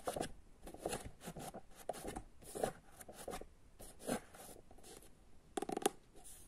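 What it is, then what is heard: Paperback book tapped and scratched. Long nails tap and scratch across a paperback book, first on its open pages and then on the closed cover. Short, dry taps alternate with raspy, bright scratching bursts, and the sound dies away quickly after each one.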